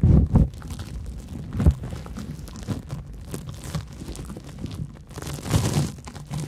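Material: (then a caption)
Cellulose. Long nails scratch a large, porous yellow cellulose sponge with big holes, making a steady crinkly, crunchy scraping. The sound is mostly low and muffled, with louder bursts near the start, around 1.7 seconds and again near 5.5 seconds.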